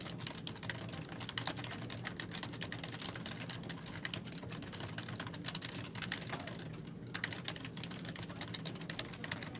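Fingertips with long nails type on a black plastic computer keyboard with hollow keys. A steady stream of quick, bright, clicky taps sounds over a constant low hum, each tap dying away almost instantly.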